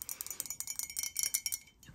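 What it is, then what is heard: Mug, tapped. A vacation mug bearing the saying "never cry over spilt milk" is tapped in a quick run of light taps. Each tap gives a bright, high, chime-like clink that dies away almost at once, and the tapping eases off near the end.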